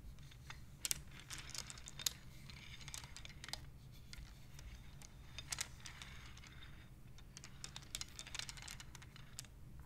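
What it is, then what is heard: Wooden abacus beads clicking. Long-nailed fingertips slide colored, painted wooden beads along the rods of a wooden abacus, knocking them together. Quiet, sharp, bright clicks come in irregular clusters with almost no ring, over a steady low hum.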